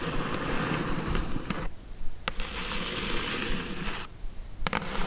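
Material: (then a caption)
Cardboard. Long acrylic nail tips tap on the lid of a closed, hollow brown corrugated cardboard mailer box, over a dense, rough scratching texture that stops in two brief pauses. A few sharp, dry clicks stand out with no ring.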